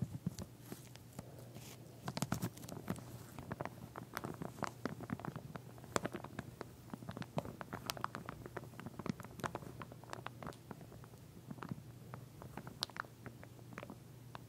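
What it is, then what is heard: Plastic comb in plastic sleeve. A wide-tooth pink solid plastic comb, sealed in a clear plastic sleeve and lying flat on a fabric surface, is tapped and scratched across its teeth by long nails through the wrapping. Dense, quick clicky taps and crinkly scratches come in uneven flurries over a steady low hum. The sound stays soft and close throughout.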